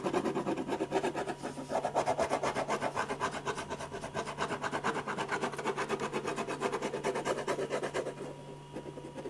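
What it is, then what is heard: Pen scratching on paper. A silver ballpoint pen scratches dense back-and-forth shading strokes across a large white paper sheet on a drawing board, filling in the hair and face of a portrait. Rapid, steady rasping strokes repeat throughout, easing slightly softer toward the end.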